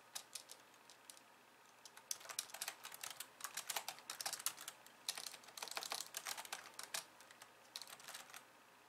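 Long polished nails type rapidly with both hands on the plastic keys of a compact pink and white plastic computer keyboard resting on a wooden desk. Quiet, crisp, bright clicks and taps come in dense bursts separated by short pauses, each click dying away almost instantly with no low thump beneath.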